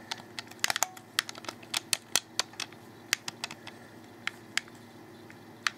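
A black, hollow plastic Xbox 360 controller is held in the hands while fingers click its buttons and handle its grips. About 19 short, sharp, bright plastic clicks come in irregular bursts, each dying away almost instantly with almost no low end, over a faint steady background hum.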